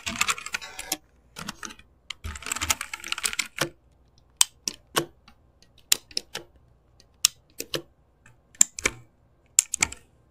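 Fingertips type and tap on a full backlit mechanical keyboard with plastic keycaps. Dense bursts of fast typing give way to sparse, single sharp taps. The clicks are bright, dry and clacky, and they stop instantly with no ring.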